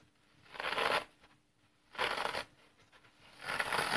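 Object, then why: Dry floral foam block. A solid, dry green floral foam block is held horizontally while thumb presses crush the porous foam along its top edge. Three separate crunchy, crackling bursts are heard, each about half a second long with bright, gritty texture, separated by near silence. The foam gives way with a dry, brittle crumble.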